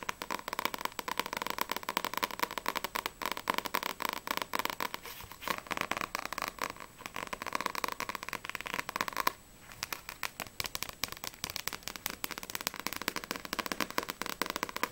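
Long nails tap quickly on the glossy paper front cover of Sprite volume 1, a small, solid paperback manga book held upright. The result is a dense stream of dry, crisp clicks with a bright, papery edge centered around 1 kHz. There is a brief pause near the nine-second mark before the rapid tapping resumes.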